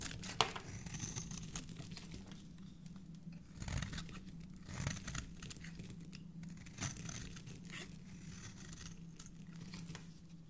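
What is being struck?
Soap bar scraped with a metal blade.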